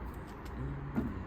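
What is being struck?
Nothing is struck.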